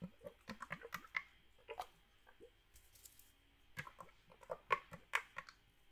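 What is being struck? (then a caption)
Aluminium drink can with some liquid. A small red metal drink can, likely aluminum and partly filled with liquid, is held in the hand and shaken while the fingers tap its side. About seventeen quick, irregular, bright metallic taps and clicks are heard, each dying away almost at once, mixed with faint sloshing of the liquid inside. The overall sound is quiet, with a pause in the middle before a final cluster of sharper taps.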